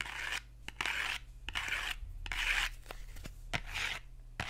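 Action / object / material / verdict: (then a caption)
scrape / small cardboard box / cardboard / none. Fingernails scratch and tap the faces and edges of a small, hollow printed cardboard box as it is turned in the hands. Bursts of dry, bright scratching alternate with short, sharp taps that have a brief, hollow knock.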